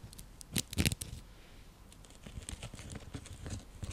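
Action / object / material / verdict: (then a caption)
scrape / woven seagrass coaster / seagrass / none. A round, flat, coiled woven seagrass (straw) coaster used as a trivet is tapped and scratched with long nails. A few louder dry, crackly bursts come early, then a steady run of softer scratches and taps follows. The sound is brittle and rustling, with a low thump under bright, papery crinkles and almost no ring.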